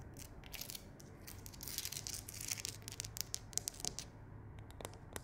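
Long acrylic nails and fingertips tap and scratch along the ridges and crevices of a large, solid wall of rough, layered natural stone on a fireplace or accent wall. Quick, bright clicks and dry scraping build in intensity toward the middle, then thin out into sparser taps, each sound cutting off immediately with no ring.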